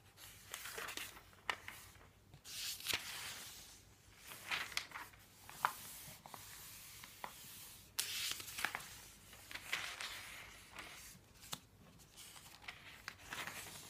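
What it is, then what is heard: Paper phone book pages. A paper phone book lies open near its back section, and a palm rubs across its thin, newsprint-like listing pages while fingertips turn them. Soft, bright papery swishes and crinkly rustles rise and fade, broken by sharp little flicks and snaps as pages lift and fall. The sound is quiet and close, with almost no low end.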